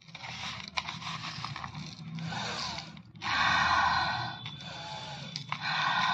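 Fingertips scoop and squeeze loose green crystalline para-dichlorobenzene powder from crushed mothball cakes in a black round bowl. Dense, gritty crunching and scraping comes in bursts separated by brief pauses, growing loudest and brightest in the second half, with a faint low background underneath.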